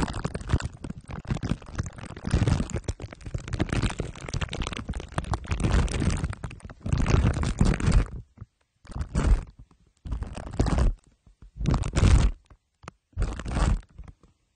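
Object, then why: Glue sticks rubbed on aluminium foil and plastic wrap over a microphone. Two glue sticks are rubbed over the top and sides of a microphone head wrapped in crumpled aluminium foil under clear plastic wrap. This makes deep, muffled rumbling and crinkling scrapes. The rubbing runs almost continuously for about eight seconds, then breaks into short bursts separated by silences.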